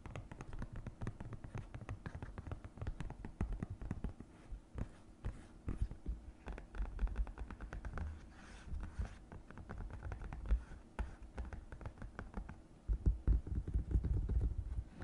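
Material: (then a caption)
Silicone. Long nails tap and scratch the raised silicone wall of the small compartment on an empty green silicone divided suction placemat. The result is a dense run of quick, soft, muffled taps and rubbing scratches, mostly low and dull with very short decay. It grows louder and more thumping toward the end.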